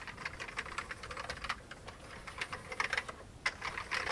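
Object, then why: Plastic computer keyboard. Fingertips of both hands type steadily on an old full-size beige plastic computer keyboard with a hollow case. Rapid, dry, clacky key taps come in uneven bursts, bright and thin with almost no low end, each click dying away almost at once.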